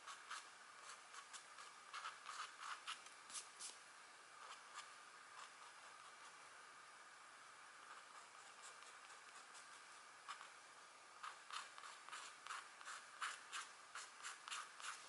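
A stylus in a green holder scratches away the black coating of a flat, thin scratch art board with gold foil underneath, which shows a deer or elk drawing; the board is held steady by one hand on a candlelit table. Quick, dry, bright scratching strokes come in bursts, fading to a faint hiss in the middle before the strokes pick up again, with almost no low end.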